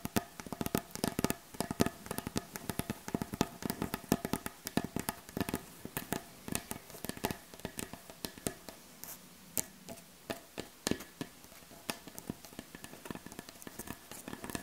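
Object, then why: Wooden butcher block board tapped with fingernails. Long acrylic nails tap across the surface of a solid, light wooden butcher block board as the hands move over it. The result is a dense, rapid run of short, dry clicks and knocks with a faint woody body and almost no ring, some taps sharper and brighter than others.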